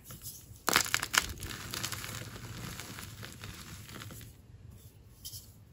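Dry white chunks of a gym chalk block (magnesium carbonate) and loose powder on a tray are crushed and ground between the fingers and palms of two bare hands. A couple of sharp, bright crunches early on give way to a steady, gritty crumbling and grinding that slowly fades, with one more faint crunch near the end as the solid pieces turn to powder.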